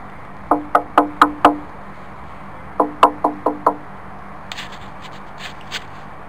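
A large piece of ancient swamp kauri log is tapped in two quick runs of five, each tap giving a short, clear, pitched wooden tone around 1 kHz with bright overtones. A few faint, higher clicks follow after the second run.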